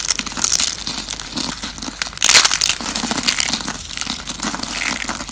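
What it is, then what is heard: Dried soap curls crushed. Fingers break brown dried soap strips and crush them between the fingertips into flakes, making a dense, continuous run of bright, dry crinkling and crunching. The sound is mostly high-pitched with little low end, and its loudest burst comes just past the two-second mark.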